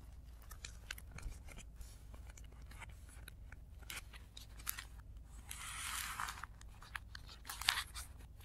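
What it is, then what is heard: Tissue paper being crinkled. Fingers roll, fold and rub the lower edge of a stack of thin, crinkly blue tissue paper sheets resting on a dark cloth, with the sound played in reverse. Quiet, bright crinkles and rustles tick along over a low steady hum. A longer, swelling hiss of rubbed paper builds near the end and is followed by a sharp crackle.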